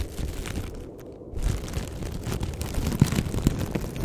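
A thin, empty black plastic bag is squeezed, crinkled and stretched by fingers, giving a steady low, rustling crinkle. The crinkling eases briefly before the first half-second mark's end, then returns with dense crackling and a couple of sharper pops toward the end.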